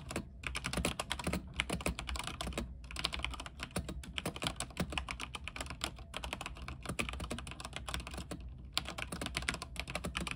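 Fingertips type rapidly on a mechanical keyboard with white plastic keycaps, set on a silver backlit frame. A dense stream of short, bright clicky keystrokes runs throughout, broken by a few brief pauses, over a steady low rumble.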